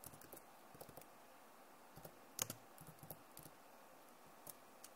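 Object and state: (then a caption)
Plastic laptop keyboard. Long nails type and tap on the keys of a backlit plastic laptop keyboard. Quiet, sharp, bright clicks come in scattered bursts with almost no ring, and one tap near the middle stands out louder than the rest.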